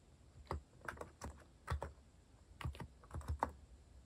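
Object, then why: Plastic mechanical keyboard keys. Fingertips press the keys of a compact white-cased mechanical keyboard with plastic cat-themed keycaps, typing slowly with pauses. Each keystroke is a short, muted clack that is heavy in the lows with little bright edge, coming singly and in small clusters over a quiet background.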